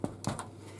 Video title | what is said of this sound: GREEK & CYPRIOT EASTER BREAD "Πασχαλινά κουλούρια" - STAVROS' KITCHEN - GREEK & CYPRIOT CUISINE | if it sounds Hollow it means they are ready